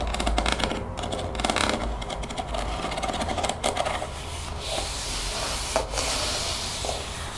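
A translucent plastic spray bottle with a white trigger head, partly filled with greenish liquid, is held in the hands and tapped and scratched along its body with long painted fingernails. Quick, dense clicking taps blend with bright scratching and rubbing, rising to sharper tap peaks before settling into a steadier hiss-like scraping.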